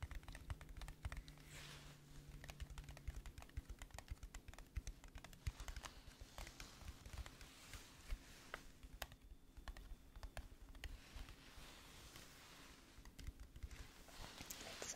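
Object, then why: Flat metal tin box. Long nails tap rapidly on the lid and edges of a flat, hollow, gold metal teddy bear tin held in the hands. The result is a quick, continuous patter of short, dry clicks that die away almost instantly, over a steady low hum.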